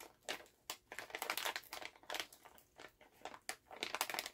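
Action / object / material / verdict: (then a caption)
scrape / plastic cough drop bag / plastic / none. A full Halls plastic cough drop pouch is held in both hands, first tapped with fingernails, then bent and crinkled. Quiet, bright plastic crackles come in irregular bursts with almost no low end, each rustle decaying quickly.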